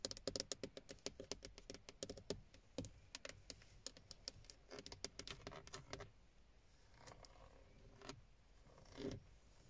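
Long painted nails and fingertips tap rapidly on the textured black plastic airbag cover, a hollow moulded panel with a chrome Toyota emblem in the centre of a car steering wheel. Quick, dry, clicky taps that die away almost instantly come in dense bursts for the first six seconds. They then thin out into a few softer, scratchier brushes and taps.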